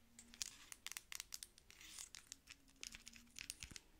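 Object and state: Plastic lotion pump bottle.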